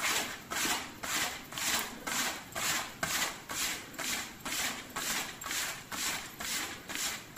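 Fingertips and nails scratch and rub the chest panels on both sides of the zipper of a dark vest made of thin, soft leather. About 15 steady, rhythmic strokes come roughly twice per second, each a bright, hissy scrape that swells and fades with almost no low end.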